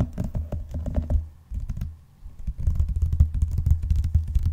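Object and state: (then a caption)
Vinyl-covered binder. Fingertips and nails tap and scratch the cover of a closed blue vinyl-covered binder lying flat. The result is a rapid run of dull, low, muffled taps, a quieter stretch in the middle, then a denser burst of tapping.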